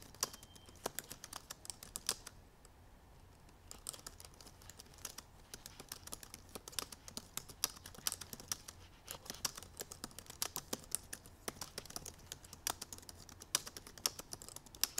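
Fingertips and painted nails of both hands type rapidly on the black plastic keys of a silver aluminum MacBook Pro keyboard. The result is a dense stream of short, bright clicks and taps with almost no ring, broken by a brief lull near the start.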